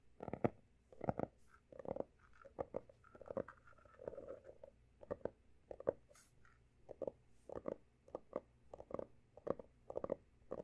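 Fingertips and short nails tap and scratch the pale blue embossed cover of a closed, solid textured hardcover notebook. Quick, dry, muffled taps come in uneven bursts, with soft scratching rustles between them. The sound stays close and low-mid, with no ringing after each hit.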